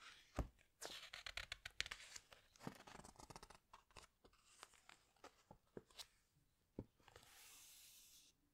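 Fingertips and long nails press and rub the glossy paper pages of a large hardcover animal book, making quick, bright crinkling taps and scratchy rustles that come in dense bursts. Near the end, a page is turned with a soft, airy swish. The sound is quiet and close, with sharp clicks that die away almost at once.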